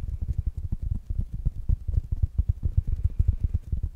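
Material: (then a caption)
Fabric. Fingertips and nails tap on a small, rounded black smart speaker with a fabric mesh cover. The result is a rapid, uneven run of soft, dull, low thumps that stop short with almost no ring and no bright edge.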